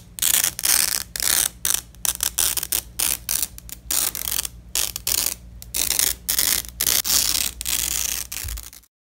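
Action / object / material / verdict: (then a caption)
scrape / nylon hook-and-loop fastener strip / nylon / none. A black-gloved hand peels a fastened purple nylon hook-and-loop strip apart as it lies on red fabric. Repeated bright, crackling rips come in quick bursts separated by short pauses, over a faint steady low hum. The tearing stops abruptly at the end, leaving silence.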